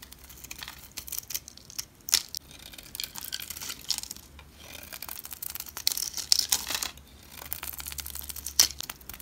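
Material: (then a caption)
Soap. A utility knife blade carves thin slices off one edge of a solid, rectangular, palm-sized olive green bar of soap held with long red nails. The sound is a run of crisp, bright shaving and scraping strokes, dry and crinkly with almost no low end, each cut cutting off quickly with no ring.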